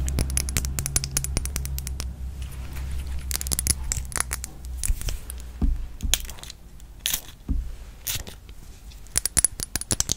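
A handheld red glass perfume bottle with a gold cap, full of liquid, is tapped on the glass with long nails. Quick, sharp, bright clicks come in dense bursts and scattered single taps, each dying away almost instantly. A low rumble runs under the first two seconds.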